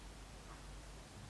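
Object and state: Nothing is struck.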